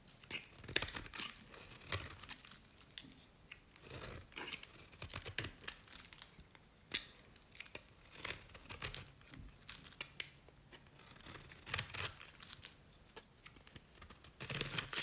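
A knife blade scrapes along the edge and face of a dry, cream-colored solid bar of Nevskaya Cosmetics soap. Quiet, bright, dry scraping and crumbly crackling come in irregular bursts, each cutting off quickly with almost no ring.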